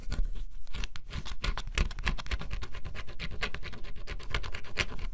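A small tool held in the fingers scratches the black scratch-off layer of a flat, solid cardboard jigsaw puzzle. Rapid, dense scratching strokes follow one another without pause, each a short, dry, bright rasp with a low thud underneath, for a steady, gritty scraping texture.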